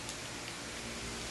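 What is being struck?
Nothing is struck.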